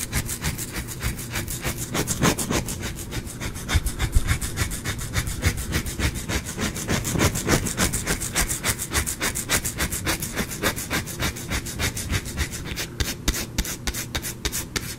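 A solid, rounded, cream-white bar of soap is held in both hands and scratched with the fingernails. It makes a steady run of quick, dry rasping scrapes, about three strokes per second, with a bright, crackly texture over a low rumble.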